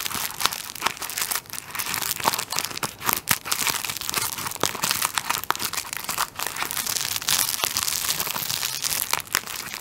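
A tissue paper roll wrapped in clear plastic film is held upright near the mic while fingertips pinch, scratch and tap the plastic wrap on its top. A steady, bright crinkling runs throughout, punctuated by many sharp, quick ticks and taps with almost no low end.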